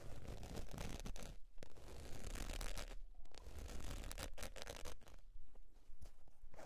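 Long pointed nails scratch the face and edge of a beige textured faux leather zip wallet, which is then tilted up in hand. Dry, rough scratching comes in quick, uneven bursts with short pauses between strokes, over a steady low rumble.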